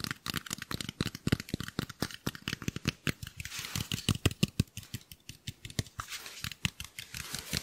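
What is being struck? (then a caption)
Portable speaker, fabric mesh over hard plastic body. A white cylindrical portable Bluetooth speaker, about 18 cm long with fabric mesh over a hard plastic body, is held in one hand and scratched and tapped with the long nails of the other. Quick, dry clicks and taps follow one another rapidly, with a soft scratchy rustle between them. Each tap stops almost at once, with a low thump under a bright crackle.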